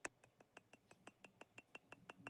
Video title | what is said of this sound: How to Make Money with Decanter Sets 🍷 Engraving, Sandblasting & UV DTF LIVE | with glass, it has a higher pitch.